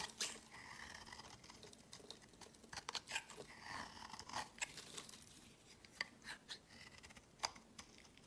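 A palm-sized solid white soap bar, held in the hand, is scraped with a utility-knife blade, shaving off powdery flakes. The clip is full of dry, bright scratching and crisp crunching strokes, with sharp clicks standing out over a soft, hissy background.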